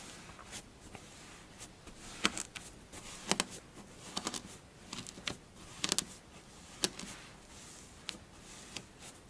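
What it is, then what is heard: Kinetic sand being scratched and pressed. A flattened mound of pink kinetic sand is pinched, then scratched and pressed with long blue acrylic nails and fingertips. The result is soft, bright, crunchy scratching with a series of sharp, quick clicks and crackles over a quiet hiss.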